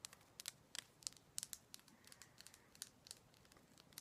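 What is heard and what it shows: Someone taps on a heavy Himalayan salt rock lamp, producing a quick, irregular series of quiet, sharp clicks. The taps are bright and dry, concentrated in the high frequencies with almost no low end, and each dies away instantly with no ringing.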